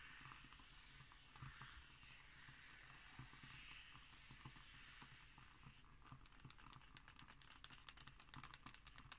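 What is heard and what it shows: Long green nails tap and scratch on an illustrated glossy page of an open magazine lying flat on a wooden table. A soft, bright, continuous scratching gives way after about six seconds to a quicker run of crisp, dry taps.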